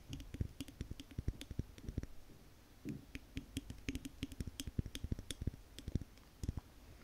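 Long nails tap rapidly on the glass sides and paper label of a large wax-filled Yankee Candle jar. The result is a dense run of short, dry, muted clicks with a deep low thump and almost no ring. Faint bright ticks sit on top, and there are a few brief pauses in the tapping.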